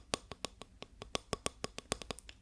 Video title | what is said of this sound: Suis mes instructions ✨ (mais tu peux fermer les yeux 😌) - ASMR FR SOFT SPOKEN | J'en ai une en bois qui fait ce son là.